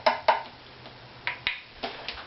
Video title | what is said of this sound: Violin Tail Piece Acoustical (Tap Tone) Tuning of my Opus # 15 violin | suggested it's about 195 a little bit low